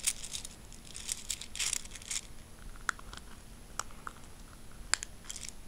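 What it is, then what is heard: Handful of metal coins. A handful of mixed solid metal coins, silver-coloured and copper, is gripped in a fist and shaken, then dropped onto a fabric bedsheet and spread with fingertips. Bright, crinkly jingling comes in dense bursts early on, then gives way to sparser, quieter clinks and a few sharp ticks over a faint, steady high tone.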